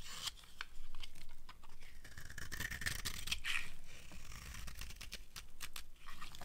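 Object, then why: Bar of soap scraped with a knife blade. A metal knife blade repeatedly scrapes the edge of a solid rectangular bar of dry white soap held in one hand, shaving off thin curls. Crisp, crunchy scraping strokes with bright, dry crackles sit over a low, steady rumble.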